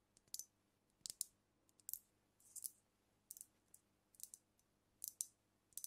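Long nails tap and click on the glass body and neck of a filled cognac bottle of amber liquid held close to the mic. The sound is a quiet run of short, dry, bright clicks in small clusters, each dying away almost instantly, with high glassy tones and almost no low end.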